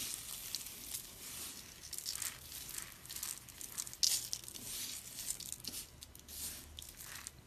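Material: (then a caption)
Soap. Hands with dark nails squeeze, rub and rake through a pile of crushed, dry pink soap flakes made of small, solid, brittle pieces. It makes a steady, quiet, bright crinkling crunch, almost all high-pitched with very little low end. Small crackles rise out of the hiss, and a sharper, louder crunch comes just after four seconds.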